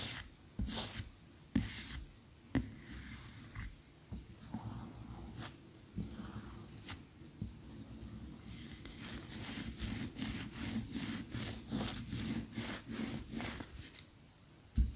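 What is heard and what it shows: Long fingernails scratch a large cream solid wax pillar candle lying on its side. Sparse, sharp scratches come first, then a quick, steady run of rhythmic scraping strokes. A soft low rumble sits underneath throughout.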